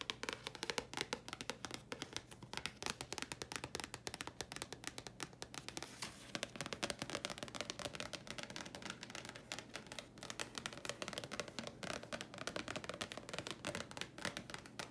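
A thin, flat red printed Thayers leaflet card held in both hands is tapped and scratched with long dark-painted nails for a quiet, continuous stream of rapid, dry clicks and papery scratches. Each tap is crisp and bright and dies away almost instantly, over a faint steady low hum.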